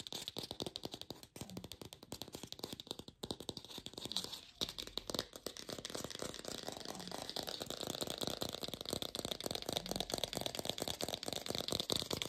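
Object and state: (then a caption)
Fake plastic pear. An artificial plastic pear is tapped rapidly with a lo-fi sound, making a dense stream of short, dry, bright clicks that blur into a rattling, scraping texture. The tapping stays steady and grows slightly louder and fuller after the first few seconds.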